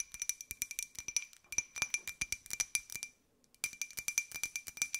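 Long nails tap a small, hollow, empty white ceramic cup-shaped jar with a pink and gold pineapple print and an open top. Quick, bright clinking taps ring with a steady high tone, pause briefly after about three seconds of silence-free tapping, then resume at the same brisk pace.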